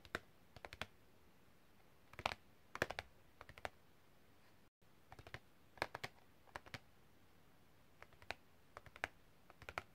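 A long, thin, flat printed cardboard packaging card with a hang hole is held flat and tapped with long red-painted fingernails in fast, typing-like strokes. Quiet, dry, bright clicks come in quick clusters separated by short pauses, with a brief silent gap near the middle. Each tap is sharp and dies away almost instantly.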